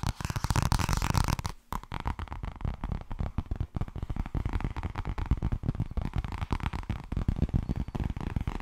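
Fast tapping on the softcover book "Blijkbaar wordt het toch ergens als je er niets aan doet" makes a dense stream of dull, low, papery thuds with almost no ring. The taps pause briefly around the second mark, then carry on steadily to the end.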